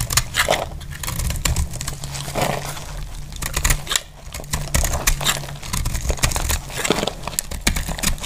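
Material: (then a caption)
Soap. A metal blade scrapes and cuts slabs off a solid, dry green soap bar held in hand. Dense, dry crackling and crumbly scraping bursts come in quick irregular runs, with bright crisp edges. A steady low hum runs underneath throughout.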